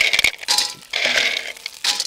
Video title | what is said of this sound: FREGOLA SARDA con VONGOLE LUPINI e CARCIOFI - Ricetta facile di Chef Max Mariola | Mettiamo le vongole adesso.